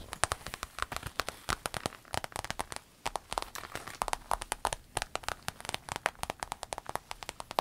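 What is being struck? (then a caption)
Vinyl waist bag. Long nails scratch the shiny panel of a soft, hollow rainbow holographic vinyl fanny pack, while fingers press and crinkle it. The result is a dense run of quick, dry crackles and sharp clicks with a bright edge, pausing briefly around the three-second mark before picking up again.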